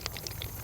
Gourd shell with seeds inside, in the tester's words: if you shake them and you hear the seeds rolling around in the middle that's how you know that they're they're dried and ready to go